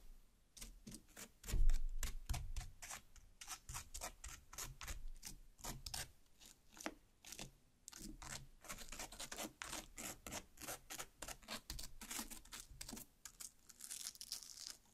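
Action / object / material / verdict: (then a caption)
scrape / cut watermelon half / watermelon flesh / none. Long black nails repeatedly dig into and tear the red flesh of a large watermelon half, the pulp becoming increasingly torn. Dozens of quick, moist scratching and ripping strokes follow one another in a steady rhythm, each with a bright crackly edge over a soft low thud, the loudest dig coming near the start.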